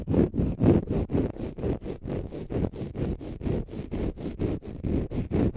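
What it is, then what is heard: Dry konjac sponge scratched with fingernails. A palm-sized, solid, porous, pale-green dry konjac sponge is held in both hands and scratched with short fingernails. About twenty short, dull, rasping scrapes come at a steady pace of roughly two per second. Their weight sits low in the sound, with a faint high hiss on top.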